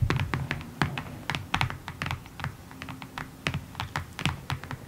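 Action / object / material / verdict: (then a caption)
tap / cardboard box / cardboard / none. Fingertips and long nails tap across the top face of a long, hollow, rectangular printed cardboard kit box resting on a table. The taps are quick, irregular and dry, each with a hollow low thump under a bright click, and they die away almost at once.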